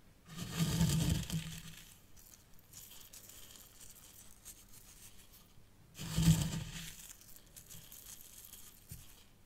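Fingertips and long nails scratch and rub through fine white sand in one compartment of a small hexagonal miniature zen garden tray. Two gritty, crunchy scraping bursts are heard, a low rumble under a bright hiss, separated by a few seconds of quiet, faint rustling.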